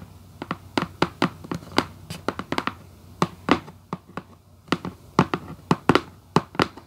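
Long acrylic nails tap on a hollow red Vans cardboard shoebox lid, first with both hands and then with one. About two dozen quick, irregular taps each give a sharp, bright click over a hollow, papery knock that dies away almost at once.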